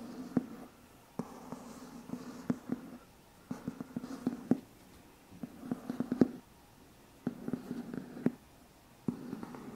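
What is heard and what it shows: A medium white cardboard box with a lid, hollow and probably empty, is held in one hand while the fingertips and nails of the other hand scratch and tap its side. Short bursts of dry scratching, separated by brief pauses, carry a hollow low-mid resonance around 250 Hz. Sharp tapping clicks stand out within each burst.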